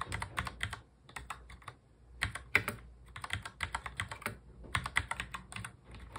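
Fingertips of both hands touch-type fast on a full-size black plastic mechanical keyboard. The result is a run of sharp, bright, clicky keystrokes in quick bursts separated by short pauses, each click dying away almost instantly.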